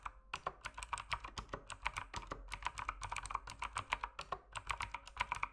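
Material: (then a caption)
Plastic. Fingertips type steadily on an RGB mechanical keyboard with plastic keycaps. The result is a fast, uneven stream of short, crisp clacks centered around 1 kHz with bright upper edges. Each keystroke cuts off almost instantly.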